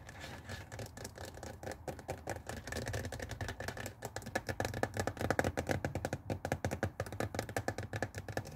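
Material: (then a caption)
Plastic. Fingernails from both hands scratch and tap the hollow, glossy blue plastic water tank of a handheld Tefal garment steamer lying on its side on a wooden table. A dense stream of quick, dry clicks and scrapes with a hollow, mid-pitched plastic body and little bright content is heard. The taps grow louder and more distinct in the second half.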